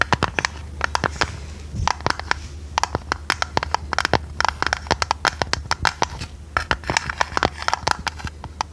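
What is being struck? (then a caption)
Tinplate tea canister. Long red nails tap and scratch a hollow, printed purple tinplate tea canister with its lid on. A rapid, irregular run of sharp, bright clicks and taps is heard, each dying away almost instantly, with faint scratchy texture between them over a steady low hum.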